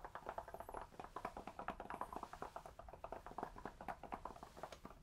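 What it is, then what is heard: Cork, tapped. A cork object is tapped rapidly close to a binaural microphone, giving a steady run of soft, hollow clip-clop taps centred around 700 Hz. Each tap dies away almost at once, leaving a quiet, dry pattern.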